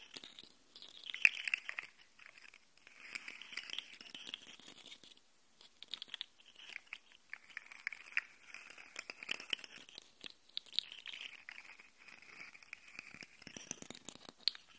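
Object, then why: Jointed plastic slug toy. A rainbow segmented plastic slug fidget toy is held close while fingers and nails scratch and click along its jointed segments. The result is quiet, bright, crunchy clicking and scratching in irregular bursts with brief pauses, almost no low end, and no ring after each tick.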